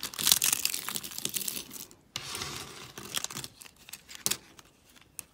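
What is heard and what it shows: A hand with long pink nails digs into a pile of pastel dry soap shards, breaking and crunching the pieces. Dense, bright, crackling crunches open the clip, then fade into a brief pause. Further rustling bursts and scattered sharp snaps follow, nearly all high-pitched, with almost no low end.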